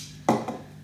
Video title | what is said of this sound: Royal Enfield Interceptor 650 Orange Crush MkII paint update. Part 3 | you shake it, rattle rattle